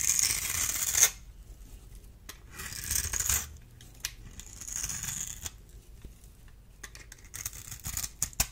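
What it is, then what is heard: Bar soap scraped with a blade. A small metal blade scores a grid into a solid, dry, oval purple bar of soap held in the hand, then scrapes across it. Bright, hissing scrapes come in bursts, loudest at the start and again around three seconds. Sharp little clicks and crumbling ticks fill the quieter gaps and end the clip.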